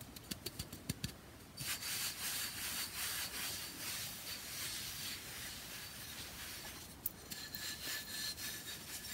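Fingertips and nails work over a hand-sized, solid, flat rectangular bath bomb brick of pressed powder, held in both hands under colored light. A quick run of sharp, dry taps opens the clip, then turns into fast, bright, hissy scratching and rubbing across its flat faces and grooved edge. The scratching is broken once by another crisp tap before continuing.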